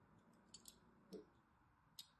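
A thin metal blade scores lines into the edge and face of a solid pale lilac bar of soap held in hand. Four short, quiet, bright scratching clicks are heard, one of them duller and lower, over a soft steady hiss.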